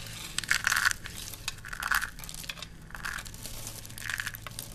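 Handfuls of thin, brittle green dry soap shavings are squeezed and crushed between both hands over a pile on a black surface. Four bursts of crisp, bright crunching and crackling rise and fade, each centred in the upper mids with a hissy top. A faint steady low hum runs underneath throughout.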